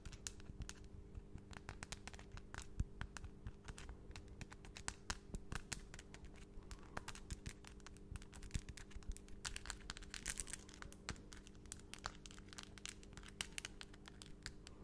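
Long, solid acrylic nail extensions tap and click rapidly against each other close to the mic, producing a dense stream of sharp, bright, very short clicks. The clicks sit over a quiet, steady low hum throughout.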